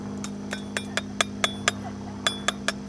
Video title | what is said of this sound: Amazing End of Summer Garden Harvest | if I tap on it you'll hear that it's kind of Woody